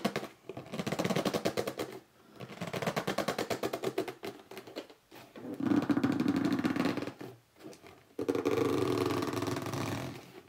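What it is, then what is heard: Cardboard box scratched with nails. Fingers grip the sides of a hollow red cardboard box standing on end and scratch its top with short nails. The result is rapid, rough scratching in several bursts separated by brief pauses, with a hollow midrange resonance from the box.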